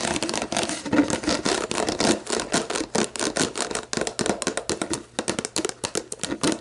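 Long black nails tap and scratch a clear, labeled plastic sports drink bottle that is hollow and mostly empty, first standing upright and then lying on its side. Rapid, dry plastic clicks come in quick bursts, mixed with scratchy rasps across the surface. Each tap dies away almost at once with only a faint hollow ring.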